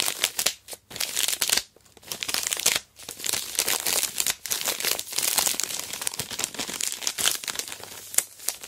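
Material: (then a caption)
Plastic. A large sealed Aero Mint chocolate bar in its plastic wrapper lies flat and is pressed, gripped and scraped with long black nails. Bright, dense crinkling of the wrapper comes in bursts, with brief quiet gaps between, and has almost no low end.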